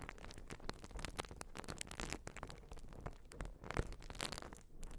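Long nails scratch a white urethane foam sponge, making a quiet, dense run of dry, crackling scrapes with quick bright rasps over a low rumble. The short scratches blur into one another rather than separating into distinct strokes.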